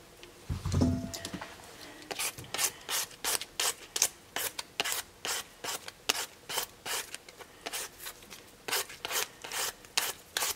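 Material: Potato.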